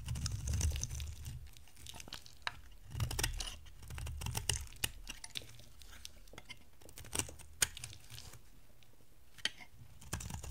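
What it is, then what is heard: Dry bar soap being carved. An oval, solid orange bar of dry soap is carved with a box-cutter blade, and flakes break off. Crisp, dry scraping and crackling come through, with scattered sharp high clicks and short low rumbling bursts between quieter stretches.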